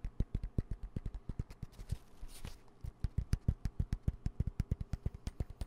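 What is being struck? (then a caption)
Padded nylon fabric pencil pouch. A dark green padded nylon pencil pouch with yellow zipper trim, held upright near the mic, is rapidly tapped with fingertips and nails, giving some forty soft, dull, low thumps that die away almost at once. Midway the tapping briefly blurs into a short, brighter fabric rustle before the steady thumping resumes.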